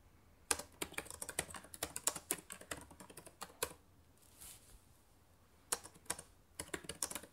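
Fast typing with fingertips and long nails on the plastic keys of a black laptop keyboard produces bursts of sharp, bright clicks. A quiet pause with only a soft, faint rustle falls in the middle before the rapid tapping resumes.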